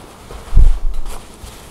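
Long blue nails scratch and tap across a black woven vest with buttons lying flat on a table, moving along its buttoned front. A soft, low thump is followed by a muffled scratching rustle and a faint final tap, three touches in all, fading quickly into quiet.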